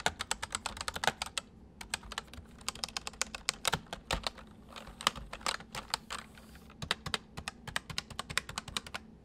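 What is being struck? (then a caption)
Plastic mechanical keyboard. Fingertips type on the main keys and numpad of a full-size white plastic mechanical keyboard with white keycaps, resting on a wooden desk. A steady run of quick, bright clicks is heard, each dying away almost instantly. There is a softer, busier stretch around the middle before the sharp clacks pick back up.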